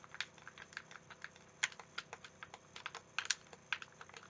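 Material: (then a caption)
Plastic. A hand-sized, hollow, translucent green plastic Xbox-style game controller is held in both hands while the thumbs and fingertips press its buttons. About seventeen quiet, sharp, bright clicks come in an uneven, typing-like patter, each dying away almost instantly, with a few louder snaps among them.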